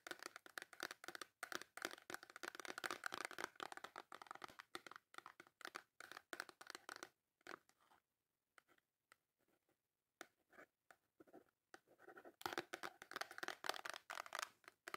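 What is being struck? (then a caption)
Small cardboard soap box. Long nails scratch quickly across the front of a small, full, white cardboard Dove soap box, making dense, dry, crinkly scratching bursts centered in the midrange with some high, bright edges. The scratching thins out into near silence for a few seconds in the middle, then picks back up and grows busy again toward the end.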